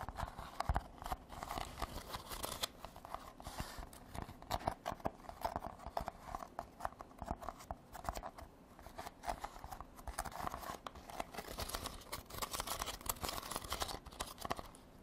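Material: Rattan.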